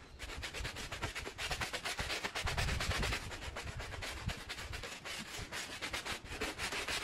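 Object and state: Woven fabric rug being scrubbed.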